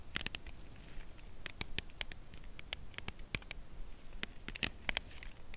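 Long acrylic nails tap and scratch the side of a dark brown Lindt Creation Caramel cardboard box holding a chocolate bar, with some possible crinkling or tearing. The result is a quiet, irregular patter of sharp, dry clicks with a bright, papery edge around 2.3 kHz that die away almost instantly, over a low, soft background rumble.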